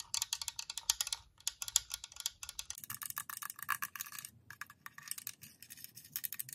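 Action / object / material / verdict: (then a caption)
tap / hollow plastic nail lamp / plastic / none. Long nails tap and scratch the dome and front edge of a white, glossy, hollow plastic UV nail lamp. A quick, quiet stream of bright, dry plastic clicks and scrapes has almost no ring. Partway through, a faint low rumble enters beneath the tapping.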